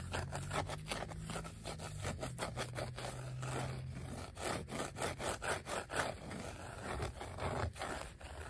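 Fingertips and short nails scratch and rub a flat, thin, black glossy vinyl sheet of die-cut letter and number stickers. The result is a steady run of quick, dry scratching strokes, broken by sharper scrapes, over a faint low hum that fades after the first few seconds.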